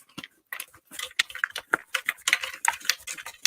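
A closed container with a hidden object inside is shaken, producing a rapid series of sharp, bright rattling clicks and ticks as the object knocks around. The rattle shows something is inside, but the object itself is not revealed.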